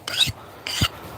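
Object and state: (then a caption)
Hardened steel knife blade (file skates). A file is skated twice across a newly quenched steel knife blade, each stroke giving a bright, high-pitched rasp that ends in a short low scrape. The file skates rather than bites, showing the steel is definitely hard and the hardening worked.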